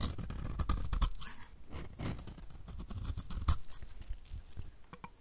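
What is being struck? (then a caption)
Bar soap. A solid white rectangular bar of dry soap, held in the hand, is scraped along its edge with a utility knife blade, shaving off powdery flakes. The result is a run of short, dry, crunchy scrapes with a low thump under each stroke and a crisp bright rasp on top.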